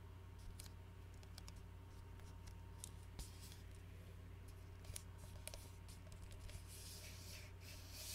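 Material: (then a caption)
Glass, plastic. A glass Arizona iced tea bottle of about 20 oz, full of tea and wrapped in a plastic label, is tilted and held sideways in both hands while fingertips tap and scratch along the labelled body. The result is quiet, irregular, short bright ticks and scratchy rasps over a steady low hum, with a brighter hiss building toward the end.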